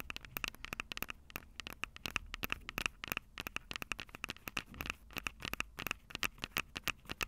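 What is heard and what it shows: Long purple nails scratch and tap the silver metal mic capsules of a Tascam DR-05 handheld recorder. The result is a rapid, irregular stream of sharp, dry clicks and scratchy crackles with bright, high-heavy energy, a faint metallic tone near 2.6 kHz and almost no ring after each tap.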